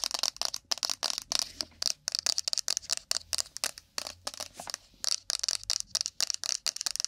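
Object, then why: Small rigid cardboard box. A small, empty, rigid cardboard iPhone box with a glossy printed picture, hollow and held in the hands, is tapped and scratched fast with long pointed acrylic nails on its face and edges. Rapid, bright, dry clicks and scraping bursts come in quick irregular runs with almost no low end and no ring. The result is a crisp, high, crackly texture.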